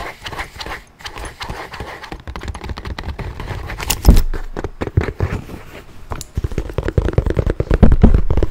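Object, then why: Leather handbag. A tan leather handbag is held close to the microphone while its surface is tapped and scratched with fingernails. The result is a dense, irregular run of soft, low-heavy taps and scraping rustles, with a louder thump near the middle and brisker tapping toward the end.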